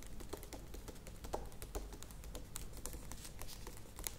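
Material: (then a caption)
Plastic. Long nails tap rapidly on the sides of a medium plastic yogurt tub standing upright. The result is a quiet, steady stream of short, dry, bright clicks that sound much like keyboard typing, over a low, soft rumble.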